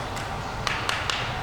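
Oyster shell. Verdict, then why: Tight. A tightly closed, healthy oyster shell is tapped three times, giving short, sharp, bright clicks over a steady low background rumble. Its solid tap contrasts with the hollow sound of open oysters, marking it as healthy.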